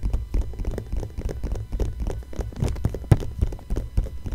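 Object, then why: Glossy paper magazine page. Long nails scratch and tap across the thin glossy pages of an open magazine lying flat on a blanket, working over the same watch ad spread with both hands. A rapid run of short, dull taps and soft scratches sounds, heavy in the low end with almost no brightness, each one dying away almost instantly.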